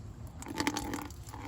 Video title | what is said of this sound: DIY Wood Bed! New Shocks! Donuts! 1974 Chevy Squarebody C20 | I can hear the chunks hitting.